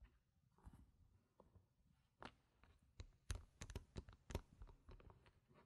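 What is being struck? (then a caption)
Stack of plastic game chips. Stacks of solid round plastic poker-style game chips with coloured rims and gem stickers, resting on a fabric mat, are tapped and clicked with long painted nails and fingertips while being restacked. Quiet, dry clicks and soft knocks come in an irregular series, picking up after a hushed start. Each tap pairs a low, dull thud with a brief bright edge and dies away at once.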